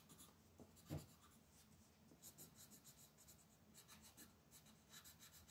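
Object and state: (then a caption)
Colored pencil scratching a paper coloring page. A blue wooden colored pencil scratches small areas of a flat white paper mandala coloring page lying on a table, using short strokes. Soft, bright scratchy bursts repeat throughout, with a low dull knock near the start.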